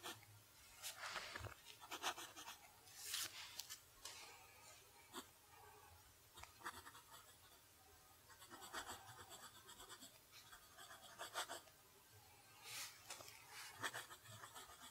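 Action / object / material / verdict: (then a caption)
scrape / steel pen nib on paper / paper / none. A steel fountain pen nib writes cursive across a flat sheet of lined notebook paper. It makes quiet, bright scratching strokes in bursts, with short pauses between words.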